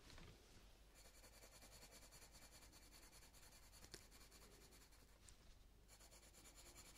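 A light green coloured pencil is stroked quickly across a paper colouring book page, filling in a flower's stem and leaf. It makes a steady, quiet, scratchy rasp with bright hiss, broken by one brief sharper scratch near the middle.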